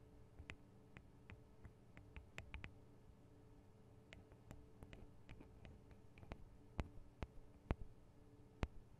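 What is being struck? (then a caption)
Small metal and plastic microphone capsules. Long acrylic nails tap and scratch on the two small hollow metal and plastic microphone capsules of a Tascam DR-40 recorder. Quiet, irregular, sharp clicks and ticks with almost no ring-out sit over a steady low hum, with a few louder, brighter taps near the end.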